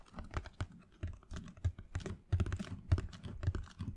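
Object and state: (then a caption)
Cardboard shoebox. A closed, hollow black Air Jordan cardboard shoebox with a grey speckled lid, held in the hands, is tapped rapidly by fingernails in a typing-like rhythm. Quick, dry clicks come in irregular clusters over a low, hollow thump around 90 Hz. Each tap dies away almost at once.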